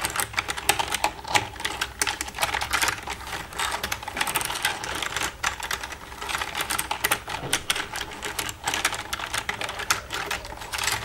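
Long red nails tap the keys of a black plastic computer keyboard in a rapid, uneven stream of sharp, bright clicks for about eleven seconds. Each tap is short and dry with almost no low end.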